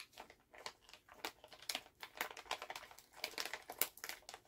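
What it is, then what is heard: Plastic candy bag, crinkled. A full Halls plastic cough drop pouch is held in both hands as fingernails tap on it, then the hands bend and crinkle the bag. The sound is a quiet run of short, bright taps and crackles with no low end, each snap dying away almost at once.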